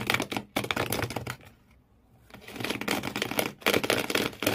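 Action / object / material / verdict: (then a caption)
scrape / corrugated cardboard shoe box / cardboard / none. Fingernails of both hands scratch rapidly at the corrugated cardboard floor inside an empty shoe box, making dense, bright, crackly rasps in fast bursts. The scratching pauses briefly near the middle, then resumes just as quickly.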